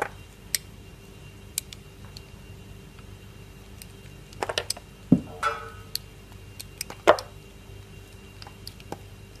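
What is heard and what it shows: A metal blade carves thin curls from the edges of a solid, translucent, palm-sized block of orange glycerin soap held in one hand. Soft, scattered ticks and light scrapes are heard over a quiet background. A few louder, crisper cuts come through around the middle and near the end of the clip.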